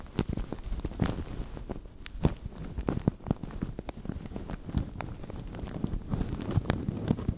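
Fingertips squeeze, crinkle and scratch a translucent thin plastic bag stretched over a microphone. The result is a steady, dense crackle full of sharp, dry clicks and pops that stop instantly, with a heavy low-end rumble beneath them.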